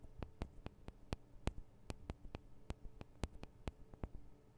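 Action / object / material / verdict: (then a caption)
tap / small metal microphone capsules on a handheld recorder / metal / none. Long acrylic nails on both hands tap the small hollow metal microphone capsules of a Tascam DR-40 recorder, giving sixteen quiet, sharp clicks at an irregular pace. Each tap is very brief with almost no ring, heard over a steady low hum.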